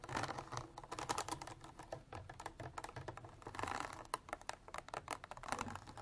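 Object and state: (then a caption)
Plastic water bottle. Long black artificial nails tap rapidly along the sides of a clear, ridged plastic water bottle with an orange cap, partly filled with water and standing on a table. The result is a dense, uneven stream of quick, light plastic clicks and taps, with a faint low hum underneath.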